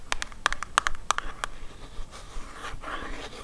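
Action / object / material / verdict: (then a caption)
tap / small cardboard box / cardboard / none. A small, hollow printed cardboard shaving soap box, held in one hand, is tapped with long acrylic nails in about nine quick, bright clicks over the first second and a half. Softer, continuous scratching across the cardboard follows for the rest of the clip.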